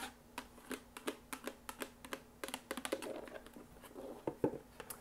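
A small green and white printed cardboard box, hollow and apparently empty, is held and then set on a table while long acrylic nails tap and scratch it. Quick, dry, hollow taps with almost no ring come in a rapid series. A stretch of softer, raspy scratching runs near the middle before a few sharper taps close the clip.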